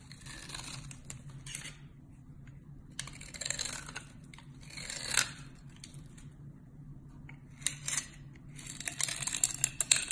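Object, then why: Bar of soap scraped with a blade. A metal box-cutter blade scrapes and shaves the edge of a palm-sized, solid cream-colored rectangular bar of soap held in the hand, and powdery flakes pile up beside it. Bursts of bright, dry, crumbly scraping come and go over a faint steady low hum, with crisper flicking ticks toward the end.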